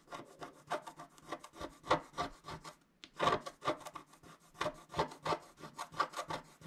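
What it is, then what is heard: Scratch-art card being scratched. A wooden stylus scratches across a flat coated scratch-art sheet held flat by one hand. It makes a quick, uneven series of short, dry, raspy strokes with bright edges, pausing briefly around the middle before the scratching resumes.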